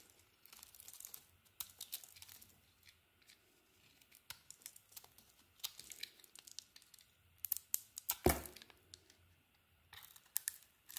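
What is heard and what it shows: A metal blade scrapes and carves a solid, glossy blue bar of soap with a green core, held in the hand. Quiet crisp scraping and crumbly tearing come in short bursts and clusters, with bright high edges and a faint low hum beneath. A sharp, louder cut stands out about eight seconds in.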